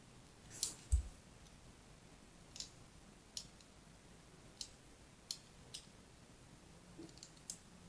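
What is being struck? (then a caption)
Solid bar of soap. A thin blade tip, held by fingers with long red nails, scratches and scores lines across the surface of a solid striped soap bar held in the hand. Short, bright, crisp scraping clicks come in a sparse series over a quiet low background hum, with a louder low thump near the start. Each scratch dies away almost instantly.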